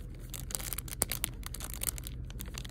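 Fingertips and painted fingernails tap and scratch across a small, flat pack of raised puffy foam stickers in a clear plastic sleeve held in one hand. The result is quick, bright crinkling and scratchy ticks over a steady low rumble, with a few sharper clicks standing out.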